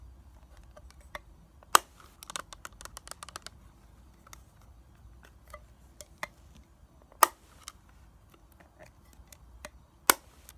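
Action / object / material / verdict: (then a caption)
tap / plastic eyeshadow palette / plastic / none. A small flat plastic eyeshadow palette with a clear plastic lid and gold plastic back is held in the hands while long nails tap the lid, the back and the edges. The result is a string of quiet, dry, bright clicks, irregular in timing and each dying almost instantly, with a few sharper, louder taps standing out.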